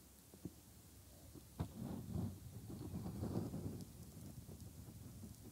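Bare fingertips rub and press around the soft, hand-sized silicone ear shells and hollow ear canal opening of a 3Dio binaural microphone. Two sharp, muffled thumps stand out early on, followed by a dense, low, rumbling rustle of skin on silicone that swells through the middle and then eases to a quieter, steady rubbing.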